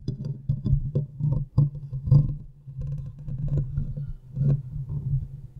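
Long nails of both hands scratch and rub the hollow metal mesh grille of a large condenser microphone. The result is a dense, low, boomy rustle with a steady low hum, broken by short, sharp, dry ticks and crackles that swell and fade across the clip.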